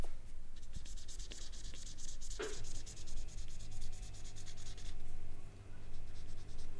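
A marker tip is scratched and rubbed over the peel of a whole, solid, ripe banana held in the fingers, working toward the middle. Soft, dry scratching and rubbing strokes with a bright, hissy edge run over a steady low hum, with one sharper squeak near the middle.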